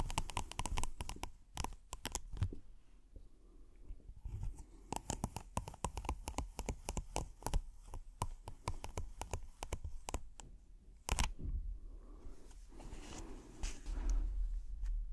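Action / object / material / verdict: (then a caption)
scrape / silicone trivet mat / silicone / none. A thin red silicone hexagonal trivet with a honeycomb-dot texture is held up and scratched with the fingertips and nails. Quick bursts of sharp, dry clicks and scratches crackle across the whole range, with softer rustling stretches between them. Each click stops almost instantly over a constant low rumble.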